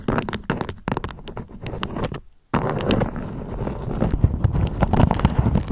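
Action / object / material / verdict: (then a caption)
scrape / beeswax-coated cotton food wrap / waxed cotton / none. Long nails scratch, tap and crinkle a yellow beeswax-coated cotton food wrap sheet that is draped and bunched up. Dense, rustling crinkles and quick taps fill the clip, with a brief near-silent pause just before the midpoint. The crinkling then resumes slightly louder and busier until the end.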